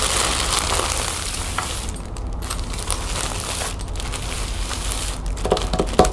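Long painted fingernails scratch and rub across a folded lime-green plastic shopping bag lying flat on a wooden table. A steady, bright, hissing scratch runs throughout with some crinkling, easing off briefly a few times, while a low hum sits underneath. Near the end, a few sharper crinkles and clicks stand out.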